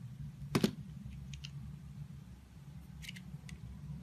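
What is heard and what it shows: A solid, firm, rectangular layered soap bar with rainbow stripes is held between fingers with pink nails while thin slices are cut and scraped from it with a box-cutter blade. Two sharp, crisp cutting snaps come close together near the start, followed by fainter, brief bright scraping ticks over a low, steady background hum.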